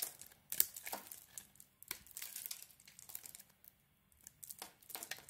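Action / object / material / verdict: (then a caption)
scrape / bar of soap cut with a metal blade / soap / none. A metal blade shaves thin flakes from a hand-held, solid rounded soap bar with a white core and a pink and grey coated outside, making scraping cuts. The clip is a series of quiet, dry, bright crinkling and scraping strokes with short gaps between them and no ring after each cut.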